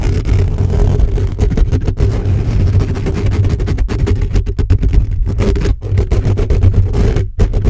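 Fingertips and short nails of both hands scratch the hollow metal mesh grille of a black condenser microphone. The result is a dense, rapid, continuous rumbling scrape, heavy in the low end with a faint hum-like tone. Brief gaps of near-silence break the steady texture.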